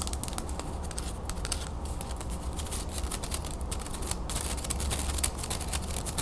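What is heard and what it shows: Long acrylic nails rapidly tap and scratch along the edge and face of a closed wooden folding fan, a solid stack of carved slats about 20 cm long. The result is a dense stream of quick, bright clicks and dry scratches over a steady low hum.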